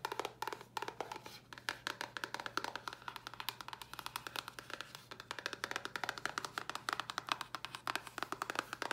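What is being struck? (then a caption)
Small cardboard box. Long nails tap quickly on a small, hollow white cardboard box. The result is a rapid, steady stream of dry, hollow clicks that stop almost instantly, centered around 1.2 kHz with a bright edge and a faint low hum underneath.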